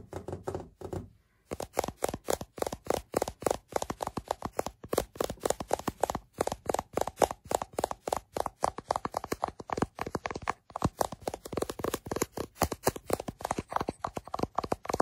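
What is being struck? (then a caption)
Glass-backed smartphone. Fingertips and nails tap rapidly and continuously on the glass back of a small white iPhone held in the hand, close to the microphone. The taps are short, dry clicks centered in the upper midrange with almost no ring. Brief pauses break the stream near the start and again about two-thirds of the way through.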